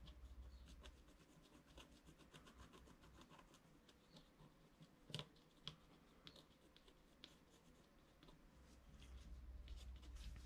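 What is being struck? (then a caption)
Wax-coated scratch-art card scraped with a wooden stylus. A wooden stylus scratches fine lines into a flat scratch-art card of wax-coated paper lying on a table, with the other hand resting on the card. Quiet, irregular, bright scratching strokes are punctuated by a few sharper ticks near the middle. A steady low hum sits underneath and swells near the start and end.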